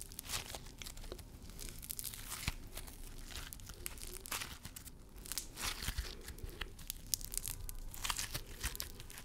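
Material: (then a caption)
Slime. A small handful of pink crunchy floam slime, a soft, solid slime packed with tiny foam beads, is squeezed and crushed in a fist and between fingertips with short nails, close to the microphone. It gives dense, bright crackling and popping, with crunchy bursts over a low squishy rumble throughout.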